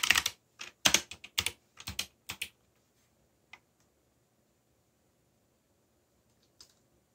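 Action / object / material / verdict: tap / plastic mechanical keyboard / plastic / none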